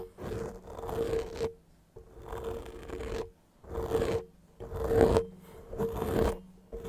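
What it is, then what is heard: Foam microphone windscreen being scratched. Fingertips rub and scratch the soft, porous surface of a grey foam windscreen on a handheld-size microphone. The result is close, muffled scratching in repeated bursts with short quieter gaps, and a steady low-mid tone near 450 Hz running beneath.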